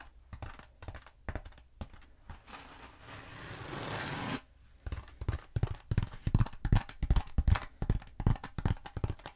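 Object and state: Bead foam roller tapped and scratched with nails.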